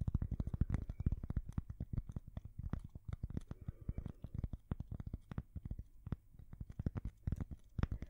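A thin, solid square cork coaster is held at the side of a microphone and scratched and tapped with long fingernails. The result is a rapid, uneven stream of short, dull, deep thumps and scrapes that stop dead with no ring, their energy mostly in the low bass.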